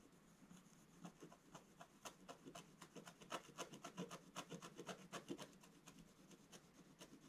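A wooden scratch stylus scratches hatching strokes into a solid black-coated scratch-art page in a book lying flat on a table. About 28 quick, dry, rasping strokes come in a loosely regular rhythm, each a short, bright scratch over a soft, low scraping bed. The sound stays quiet throughout.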